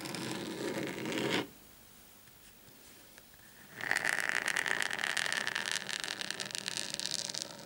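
Short painted fingernails of both hands scratch and tap across a large, thin, flat dark desk mat or mousepad lying on a table. A dense, raspy scratching runs for about a second and a half, then drops to near silence for about two seconds. It returns brighter, as rapid crisp scrapes and ticks with a faint hiss-like tone near 1.8 kHz that continue to the end.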